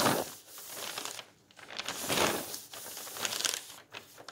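Fingertips lift and fold a thin old magazine page in a thick bound volume of old paper magazines, then the palm rubs it flat. The result is a bright, dry paper rustle and crinkle in uneven swells, with short quiet gaps between the folding and smoothing strokes.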